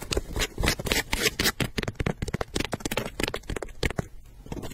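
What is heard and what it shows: Long nails scratch and tap a hollow, empty pink leather low-top sneaker with a gum rubber sole, held close, working over the upper and the sole edge. Quick, irregular scratches and taps are heard, broadband with a bright, papery top and a low thump, each dying away almost at once.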